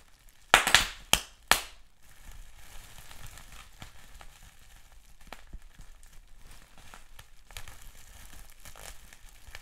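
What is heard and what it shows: Fingertips press and squeeze clear plastic bubble wrap with large air bubbles, and three loud, sharp pops snap out in the first two seconds. Soft, bright crinkling and faint crackles of the plastic continue at a low level for the rest of the clip.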